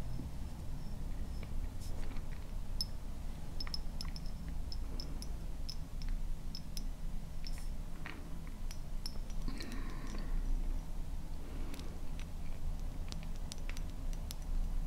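A medium dark brown glass bottle with a white paper label, hollow and appearing full, is held in both hands and tapped and scratched with long painted nails. Light clicks, taps and faint scratching with bright glassy ticks sit over a steady low rumble throughout.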